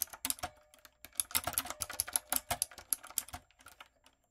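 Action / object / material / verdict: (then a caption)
tap / mechanical keyboard with round plastic keycaps / plastic / none. A typewriter-style backlit mechanical keyboard with round brown plastic keycaps on a dark frame is typed on rapidly with fingertips and long coffin nails. Quick, bright, crisp clicks and clacks come in bursts with short pauses, each tap dying away almost instantly, with very little low end.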